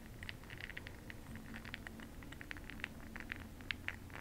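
A makeup brush stirs bronze makeup pearl beads in a small clear glass cup held in the hand. The result is a quick, rattling, clicking patter of many short bright ticks centered around 2 kHz, over a faint low hum.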